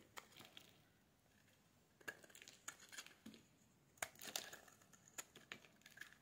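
A metal blade scrapes a solid pink bar of soap, shaving off curls that pile up on a wooden table. Short, crisp, bright scraping and crackling bursts come at an uneven pace with quiet gaps between them.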